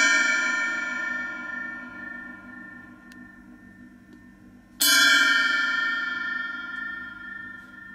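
An 18-inch Triplesix H series brass-coloured drum cymbal on a stand is struck twice with a wooden drumstick, about five seconds apart. Each hit gives a clear, bright metallic crash with a shimmering high wash and a steady tone near 1.6 kHz. The sound rings out and slowly decays between strikes.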